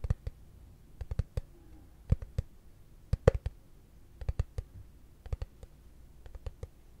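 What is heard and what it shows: A hollow, translucent frosted plastic case held flat is tapped with fingertips and short nails in loose, irregular clusters. Each tap is a short, dry click with a soft low thump and a faint hollow tone near 490 Hz, dying away almost instantly with no ring.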